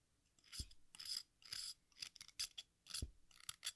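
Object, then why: Stick of sidewalk chalk scraped with a blade. A small solid piece of watermelon-shaped sidewalk chalk is held over a pink bowl while an exacto knife blade scrapes and shaves its red surface. Short, bright, gritty scraping strokes come in bursts, some with a soft low thump. Red and green chalk dust collects in the bowl.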